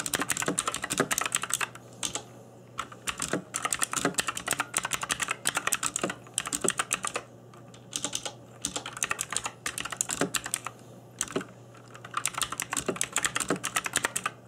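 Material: Plastic.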